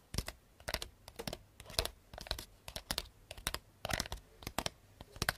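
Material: Cardboard.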